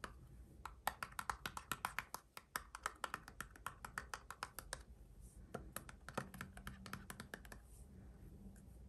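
A small roll of printed paper washi tape with a hollow plastic core, about 5 cm across, is held in both hands and scratched and tapped with the fingernails on its edge and surface. The result is a quiet, rapid series of short, dry clicks and taps with almost no ring, over soft scratching and a faint low background hum.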